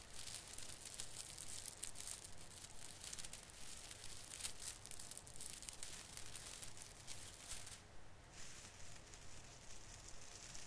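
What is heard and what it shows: A hand squeezes and rubs the branch tips of a small artificial fir Christmas tree with plastic needles. It makes a steady, bright, crinkly rustling with quick scratchy bursts, briefly thinning out near the end before continuing.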